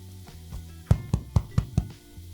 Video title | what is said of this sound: SIMPLE BROWN BREAD WITH SEED'S | once it sounds hollow you know it's ready